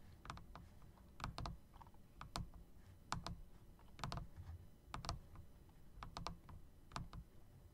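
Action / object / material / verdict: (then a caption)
tap / plastic and metal mechanical keyboard / plastic / none. Fingertips press and tap the keys near the spacebar of a backlit plastic and metal typewriter-style mechanical keyboard with round keycaps. Irregular, short, sharp clicks and clacks are heard over a low rumbling background. Each keystroke decays almost instantly.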